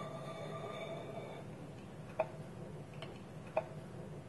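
A fingernail taps on a small, hollow, polished wooden bowl whose wooden lid is held against it by both hands on a table. A few short, dry knocks with a woody mid pitch die away almost at once over a quiet, steady background hum.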